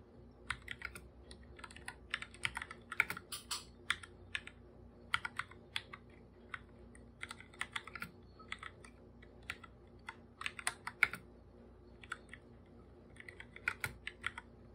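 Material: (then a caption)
Plastic. Bare fingertips type on a full-size black computer keyboard with plastic keycaps, its hollow body giving each tap a light plastic click. The short, bright clicks come in quick irregular bursts with brief pauses, over a faint steady low hum.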